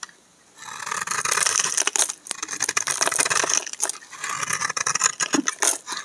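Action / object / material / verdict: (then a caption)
scrape / bar of soap shaved with a steel blade / soap / none. A steel utility knife blade scrapes shavings off the embossed face of a solid cream-colored Dove soap bar held in one hand. After a brief quiet start, dense, crisp, bright scraping strokes follow one another with short, dry crackles and no ring.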